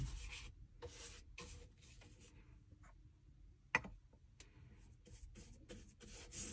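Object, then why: Leather shoe sole. A small wooden-handled bristle brush rubs liquid over the solid leather outsole and heel area of a dress shoe turned upside down. Short, bright, scratchy brushing strokes come and go over a low background, with one sharp tap partway through.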